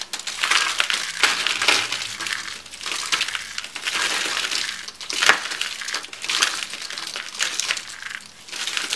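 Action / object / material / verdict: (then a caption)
scrape / rolled soap curls / soap / none. Dry, bright green rolled soap curls are crushed between palms and fingers, breaking into brittle shards that fall onto a wooden board. A dense, bright crunching and crackling runs throughout, punctuated by sharp, crisp snaps with no low rumble.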